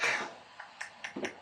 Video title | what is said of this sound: Man-Makers, KB Swings, Jacks, Dips & Squats / April Upgrade 2023 | If it's a good piece, it should have a real crystal sound